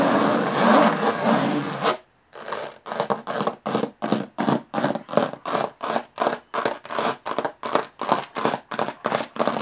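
Long nails scratch and tap the textured lid of a closed, hollow aluminum carry case. About two seconds of dense, continuous scratching stop abruptly. After a brief silence, about twenty short, evenly spaced scratchy strokes follow in a quick steady rhythm, with a bright, hollow metallic rasp.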